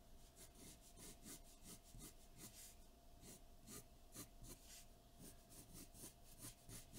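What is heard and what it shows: A graphite pencil held in the fingertips sketches and shades across a large sheet of white drawing paper taped flat to a dark board. It makes a quiet, continuous scratch and rub, with repeated bright, airy strokes over a low, steady background hum.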